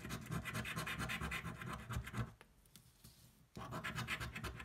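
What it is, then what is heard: Scratch-off lottery ticket being scratched. A coin scratches the coating off a thin paper scratch-off lottery ticket lying flat on a white table, held down by one hand. Rapid, rough, rasping strokes fill the clip, pausing briefly in the middle before resuming.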